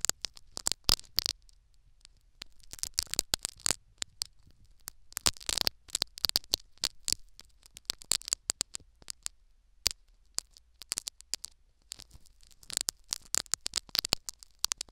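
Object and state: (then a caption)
Foam sponge being poked and scraped in an ear microphone. Two metal needles poke and scrape into a foam sponge plug sitting in the canal of a silicone ear microphone. Dense bursts of bright, crackling scratches and sharp clicks come in clusters, with quiet gaps between them and only a faint low hum underneath.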